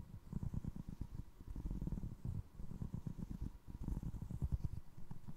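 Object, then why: Foam resin clog. Fingertips scratch the sole of a single navy blue foam resin Crocs clog, then tap the holed side of its upper. The result is a quiet, dense run of soft, dull, low thuds and rubbing with no ring, almost all of it deep and muffled with nothing bright on top.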